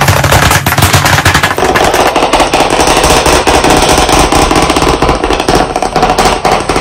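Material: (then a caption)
Slate, wood. Fast tapping with white chalk sticks held in both hands on a medium, solid, flat black chalkboard panel in a wooden frame. The sound is a dense, rapid, continuous clatter of overlapping taps with a low, woody knock and a bright, scratchy edge, staying steady and loud throughout.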